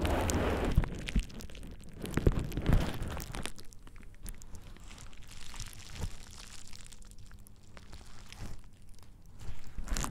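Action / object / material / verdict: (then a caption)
scrape / plastic bubble wrap sheet / plastic / none. A thin purple plastic bubble wrap sheet lies over the ears of a dummy-head microphone and is pressed, rubbed and crinkled by hands and fingertips. Close, dense crinkling and crunching comes with low, muffled thumps and rustles. It is loudest in the first three and a half seconds, then settles into softer, irregular crackling before swelling again at the end.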